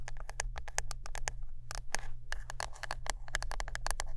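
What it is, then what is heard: Wooden brush. Close-up fingertip-style tapping and scratching on a wooden brush gives a fast, irregular run of short, dry clicks with bright, crisp tops and almost no ring. A few softer scraping swishes fall between the taps, all over a steady low hum.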